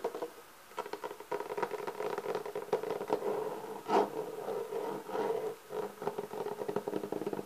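Fingertips and nails from both hands tap and scratch the top of a black, pebble-textured, leather-textured hard-shell clarinet case held upright. The result is a dense, quick patter of soft taps and rough scratches with a hollow, boxy mid-range resonance around 430 Hz. One louder tap stands out near the middle of the clip.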